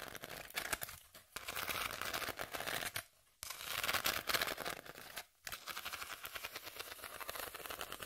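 Long nails scratch along the exposed ribbed inner layer of a hand-sized corrugated cardboard sheet held upright. The result is a dense, bright, raspy stream of rapid ticking scrapes with three brief pauses between strokes.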